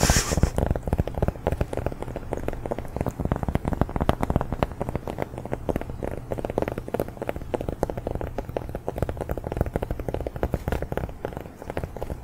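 Fingers tap rapidly and continuously on a large round cork coaster from IKEA, bought about five or six years ago and now somewhat grimy despite washing. The taps are soft, dull and low-pitched, each dying away almost instantly with little brightness.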